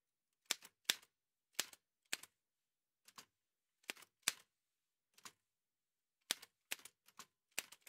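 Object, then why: Manual typewriter with a metal body. White satin-gloved fingertips type on a large, heavy old Remington manual typewriter with a dark painted metal body and paper loaded. Sharp, bright metallic key strikes snap out in short, irregular bursts with quiet gaps between them. Each clack dies almost instantly, with no low thump beneath it.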